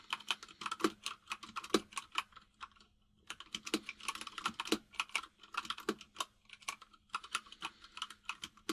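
Fingertips of both hands type on a full-size mechanical keyboard with white and grey plastic keycaps. Quick, sharp, bright clacks with a lower thock come in a rapid stream, pause briefly near the three-second mark, then resume, with a faint steady low hum underneath.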